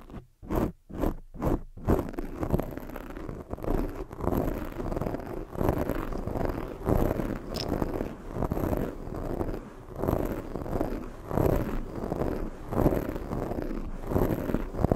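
Long fake nail tips scratch and rub a black porous foam microphone windscreen. A few short, separate strokes open the clip, then the scratching becomes dense and continuous, swelling and fading in rhythmic waves. The sound is a muffled, low-heavy rustling scrape with little brightness.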